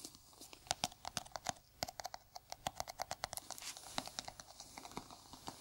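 Bare fingertips and nails tap the lid and side of a small, round, hollow white plastic jar held in a gloved hand. The result is a rapid, uneven run of short, dry, clicky taps with a hollow plastic tone and bright ticks, each dying away almost instantly.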